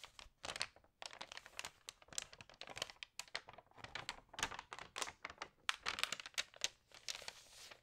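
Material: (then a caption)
Paper. Hands rub and flip the glossy pages of an Allerhande paper magazine, crinkling them. A dense run of quick, bright, papery crinkles and rustles comes in short bursts with brief pauses, with almost no low end.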